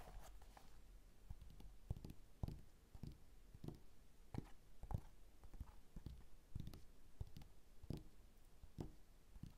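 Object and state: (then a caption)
Glossy magazine page. An open glossy magazine lies on a table while both hands tap and scratch its glossy inner pages with fingertips and nails. The result is a steady run of soft, dull, low thumps, each dying away almost instantly, over a faint bed of scratching.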